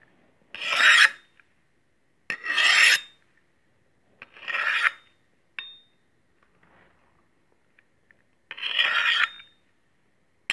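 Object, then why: Stainless steel cleaver on a steel honing rod. A large solid stainless steel meat cleaver, held in hand, has its blade drawn along a steel honing rod, making a rasping metal-on-metal scrape. Four long strokes are separated by pauses of a second or more, with a few shorter scrapes and clicks in between. Each stroke is bright and gritty, centered near 1.8 kHz, and several end in a brief high ring.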